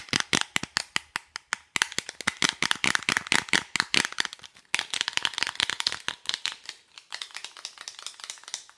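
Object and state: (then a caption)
Cardboard lipstick box. A small, hollow, rectangular printed cardboard lipstick box is handled and tapped with long nails, and possibly shaken. It gives a rapid run of dry, bright clicks and taps with almost no low end and very short ring. The taps come in dense bursts, with brief pauses near 1.7 and 4.7 seconds, and grow softer toward the end.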